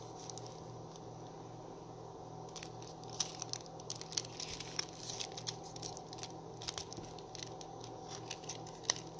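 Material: Cardboard.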